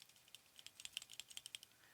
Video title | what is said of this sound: April Adventures - Unboxing a Surprising Writing Tool + Journaling Jam Session | There is a tiny bit of rattle whenever you shake it, but not when you're using it.